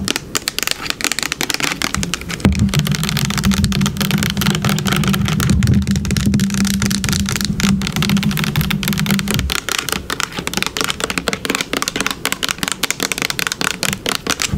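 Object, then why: Plastic bottle. Long pink nails tap rapidly and irregularly on a yellow plastic bottle with a brown cap, held sideways and then upright, making dense, crisp clicks with bright edges. From about 2.5 to 9.5 seconds a steady low hum sits beneath the tapping, then fades out while the quick tapping continues.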